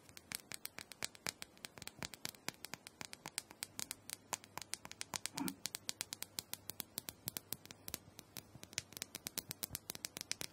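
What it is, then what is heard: Plastic dome massager tapped with nails. Long pointed nails tap and scratch the top and sides of a small, hollow purple plastic dome massager held in the hand. About 74 quick, crisp clicks with very short decay sound in a steady, fast patter, with a brief louder scratch midway through.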